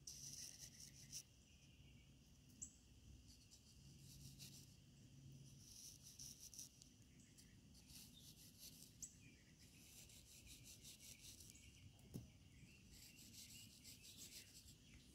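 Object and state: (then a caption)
Packed sand block being scraped. A small metal knife or spatula, held in a ringed hand, scrapes and cuts into the top of a solid, partly carved block of compacted sand. Quiet, steady gritty scraping carries a bright hiss over a soft low rumble. Occasional sharper ticks stand out as crumbs fall away.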